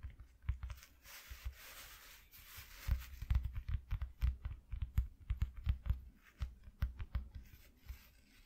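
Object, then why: Piece of cardboard box. Fingers tap on a flat piece cut from an empty cardboard shoe box, making quick, dull, low thuds with almost no ring. Near the start, a short stretch of soft scratchy rustling sits between the taps.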